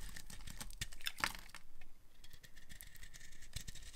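A utility knife blade cuts thin slices from the edge of a dry, solid, light green bar of soap. The result is a quiet run of dry, crackly scraping and crisp little snaps, with a few brighter, sharper cuts standing out, all over a soft, low rumble.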